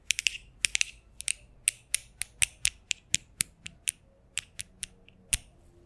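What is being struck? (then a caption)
Steel mesh microphone grille. Fingers wearing metal thimbles, in fingerless gloves, tap and scratch the hollow, domed steel mesh grille of a large condenser microphone. About 21 sharp, bright metallic clicks land in an uneven rhythm, each dying away almost instantly, with a faint low hum in the gaps between them.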